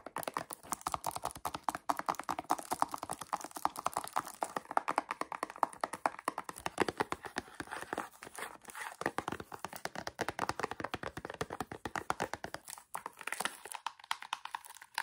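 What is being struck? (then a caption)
Small cardboard gift box. Fingertips and nails tap rapidly across the faces of a small square cardboard gift box with a glossy floral "amazing life" print, held up and gripped in the hand. The taps are dry, crisp clicks with a hollow papery mid tone and a bright edge, dying away almost instantly. They run in a dense, uneven patter throughout, with little low end.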